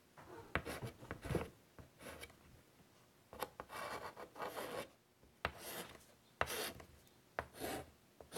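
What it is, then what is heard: Chalk drawing on a wood-framed chalkboard. Fingers draw small doodles with white chalk on a large, flat chalkboard set in a wooden frame. Soft, raspy bursts of scratching and rubbing are broken by sharp, brief chalk taps, with quiet pauses between strokes.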